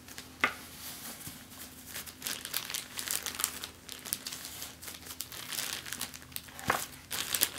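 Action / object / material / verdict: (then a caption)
scrape / thin plastic bag / plastic / none. A large, thin, clear, empty plastic bag spread on a table is pressed and scrunched under the fingertips and long nails of both hands. It makes a dense, bright, continuous crinkle with quick crackles, and sharper, louder snaps come near the start and toward the end over a faint low steady hum.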